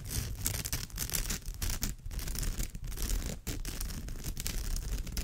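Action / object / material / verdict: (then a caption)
scrape / woven straw bag / straw / none. Long nails on both hands scratch across the woven surface of a straw bag. The result is a continuous dry, rustling scrape with heavy low rumble and brushy high hiss. Dips in level mark brief pauses between strokes.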